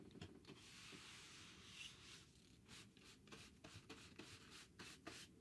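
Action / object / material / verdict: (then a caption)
scrape / cardboard sheet / cardboard / none. A thin, solid, rectangular grey cardboard sheet is held in the hand and scratched or rubbed across its face. A quiet, steady, hissy scraping fills the first half, followed by a run of short, bright rasping strokes with a soft, dry low rumble underneath.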